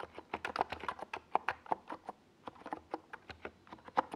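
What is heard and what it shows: Fingertips type continuously on a NiZ Plum Atom 68, a small 68-key mechanical keyboard with a white plastic case and purple and yellow plastic Domikey Gas Attack SA keycaps, resting on a desk pad. About 19 quick, dry, hollow clacks of uneven loudness ring out, centred around a mid pitch near 770 Hz with little deep bass. Each one cuts off almost instantly, with only brief quiet gaps between them.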